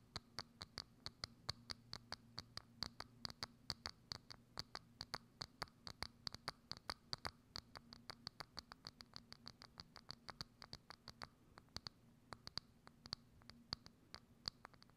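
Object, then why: Clear plastic dome lid. Long acrylic nails rapidly scratch and tap a hollow, thin, clear plastic dome lid set over a microphone. Quick, bright, dry clicks and scratches repeat steadily over a faint low hum, each dying out almost instantly with a sharp high peak.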